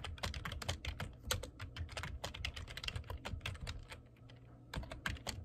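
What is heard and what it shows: Fingertips type rapidly on the keys of a black plastic computer keyboard, producing a dense run of sharp, bright clicks over a steady low hum. The typing briefly thins out near the end before a final quick burst of keystrokes.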